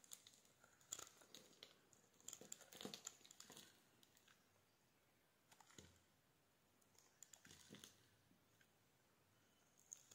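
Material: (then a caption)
Soap. A solid, palm-sized pink soap bar is held in the hand and scraped and carved with a metal blade into curls and chips. The result is soft, bright, crinkly scraping and crunching, with dense bursts in the first few seconds and quieter, sparser strokes after that. Each stroke stops almost instantly, with no ring.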